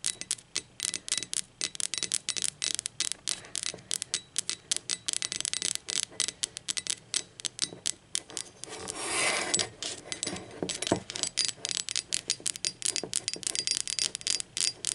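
Long acrylic nails scratch and rub the glazed body of a hollow, speckled teal ceramic mug lying on its side. Dozens of quick, bright, dry clicks and scrapes follow one another with almost no ring. Around the nine-second mark they give way to a longer, smoother rubbing swell.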